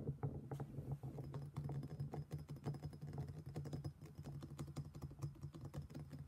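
A black stone pestle held in one hand knocks and grinds inside an empty, hollow, thick-walled black stone mortar while the other hand steadies the bowl. Rapid, dense clicking taps with short, dry decays sit over a steady low hum around 141 Hz, with brief bright ticks throughout.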